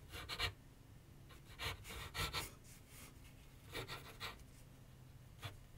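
A graphite pencil is drawn and scratched in short strokes across a medium white canvas/paper board resting on a wooden easel. Nine brief, bright, raspy scratching bursts rise over a quiet, low background rumble, each with a faint low thump and almost no ring after it.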